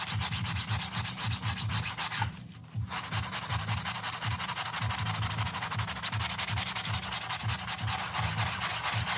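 A gloved hand scrubs a small grey printed synthetic doormat rug with a low pile, soaked and foamy, using a round bristle brush. Rapid rhythmic back-and-forth strokes make a steady wet rubbing and scrubbing sound with a low thrum and bright bristle hiss, pausing briefly near the middle before resuming at the same pace.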